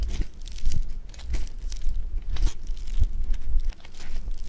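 A lump of blue foam bead clay (floam) is folded, pinched and squeezed by fingers, giving off dense, crunchy crackling. Bright, grainy bursts rise and fade over a steady low rumble, with a brief dip in loudness near the end.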